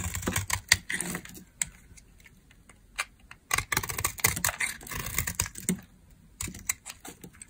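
A metal utility blade carves crumbly dry chunks and slivers off a solid rectangular tan household laundry soap bar (a dry brown laundry soap bar) held in hand. Short, crisp, bright scraping and crunching bursts come in irregular clusters separated by quiet pauses, each cut stopping dead with almost no ring.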